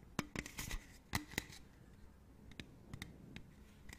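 A hollow, printed aluminium beverage can held sideways is scratched and tapped with long nails. The result is a series of short, dry clicks and scrapes with a bright metallic edge, each dying away almost instantly. The taps are louder and busier in the first second and a half, then become sparser and softer.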